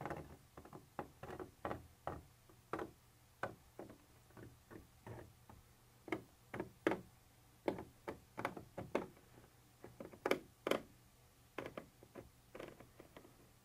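A black pointed pointer tool taps and ticks against a white textured plastic surface that appears to be a hollow container wall. It makes an irregular series of short, dry clicks with a slightly hollow mid-range tone, each dying away almost instantly, some sharper and louder than others, over a quiet low hum.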